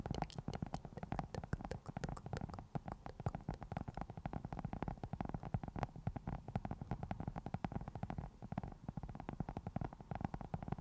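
Long nails of both hands scratch a round black foam windscreen on a microphone. The result is a dense, continuous stream of quick, dry scratches and crackles, mostly a muffled low rumble with some bright clicky edges. It stays steady throughout, with a slight dip just before the end.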